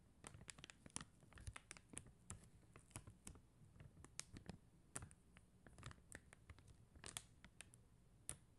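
Long mint-green nails scratch and tap a flat plastic rhinestone sticker sheet of blue and clear faceted plastic gems on a white backing. Many quick, dry clicks and scratches come in irregular bursts, bright and crisp with a soft low rumble beneath.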